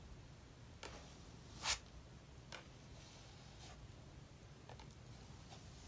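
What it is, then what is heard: Palette knife scraping acrylic paint on a sketchbook page. A metal palette knife spreads thick maroon acrylic paint in vertical strokes across a paper sketchbook page while reworking an abandoned page. Three quiet, bright, brief scrapes stand out, the middle one loudest, with fainter strokes after them over a low, steady background hum.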